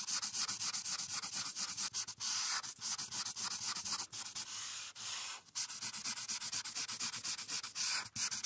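A marker's felt tip is rubbed back and forth across a printed paper coloring sheet resting on a clipboard. Dense, rapid scratchy strokes, about four per second, produce a bright, hissy rasp with almost no low end. Brief pauses break up the strokes.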